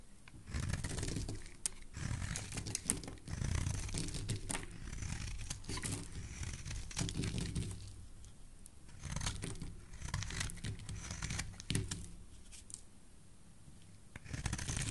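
A solid white, hand-sized rectangular soap bar is held in the hand and shaved with a utility knife blade in a steady scraping, carving action. Heard close up, the cuts come as rough, crinkly shaving strokes over a heavy low rumble, with sharp bright clicks scattered throughout.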